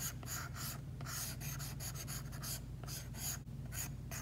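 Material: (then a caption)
Matte film. An Apple Pencil tip is drawn in short strokes across an iPad's glass screen fitted with a matte screen protector. This produces a series of dry, bright scratching bursts over a steady low hum.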